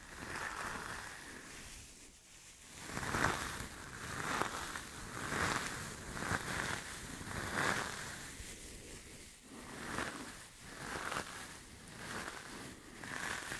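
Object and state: Nothing is struck.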